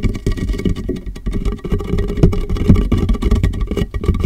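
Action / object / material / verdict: tap / large plastic water jug / plastic / none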